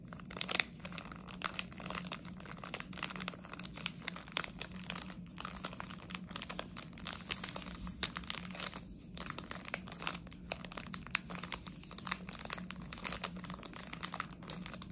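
A small plastic chocolate frog wrapper, held horizontally, is crinkled and scratched with long nails. Dense, bright crinkling and quick scratchy ticks run continuously over a low steady hum.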